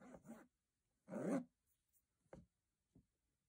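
Fingertips rub across the diamond-textured aluminium lid of a hollow metal box in two short scraping bursts, then tap it twice with separate, quick, dull knocks. The sound is quiet, and each tap fades almost immediately.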